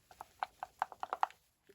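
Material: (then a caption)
Plastic. A small plastic bottle of StazOn re-inker ink is shaken so the little mixing ball inside rattles, spreading the pigment evenly through the fluid before re-inking. A quick run of short, dry, mid-pitched clicks is heard as the ball knocks against the bottle, with almost no ring, then a faint final tap.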